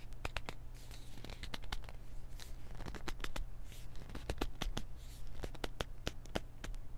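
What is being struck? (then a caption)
Small plastic pill bottle. A small white plastic pill bottle with a paper label is gripped and scratched with fingertips and nails, making a quick run of sharp, bright ticks and dry scratching rustles. A steady low hum sits underneath throughout.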